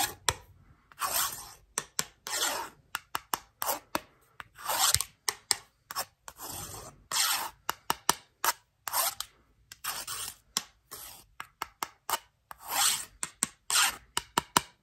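A small metal pin tool with a pink handle scratches along the edge of a long, flat wooden ruler with printed markings, held upright. The sound is a bright, raspy scraping in repeated strokes, some drawn out and others short and sharp, with quiet gaps between them.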